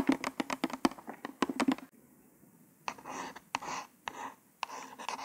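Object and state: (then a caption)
Cardboard package card scraped with a nail. A single long nail taps and scrapes across a small white cardboard false-nail package card, tracing its printed letters. Quick, dry taps come first, then longer breathy scratching strokes with a bright hiss.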